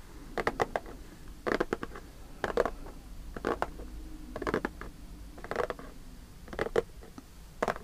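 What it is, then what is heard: Cardboard snack box. Fingertips and nails scratch and pull at the top edge of a closed, likely full Lotte custard cake cardboard box. About eight short bursts of dry, crackly scratching come at a steady pace, each made of several quick clicks with a papery mid-range sound, separated by quiet pauses.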